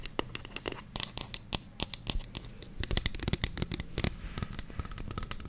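A medium white plastic lotion bottle with a black pump, hollow with contents inside, is held close and tapped and scratched with long fingernails. Many quick, dry clicks and scratchy rasps follow one another, with bright ticking edges over a soft low body and almost no ring.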